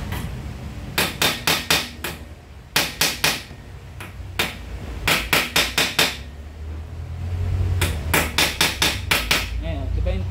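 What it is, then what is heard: Steering bearing race cone fully seated. Hammer blows drive a steel steering bearing ball race cone into the steering head of a Yamaha NMAX V1 scooter, with the old race set on top to tap against. Bursts of sharp, bright metallic clanks with a short ring sound over a low background rumble. The race ends up fully seated.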